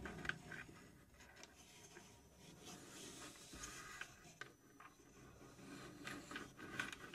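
Long nails scratch and rub across the plywood door and side panels of a small plywood puzzle safe box, which stands open, hollow and empty inside. The result is a quiet, steady, dry scraping with bright rasping detail, broken by a few sharper ticks and scuffs.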